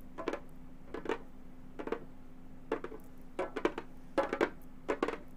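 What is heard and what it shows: Gold metal claw tips tap the synthetic head of a hollow frame drum in quick clusters of two or three strokes. Each tap is short and dry, with a mid-pitched tone around 370 Hz that dies away almost at once. A faint steady low hum sits underneath.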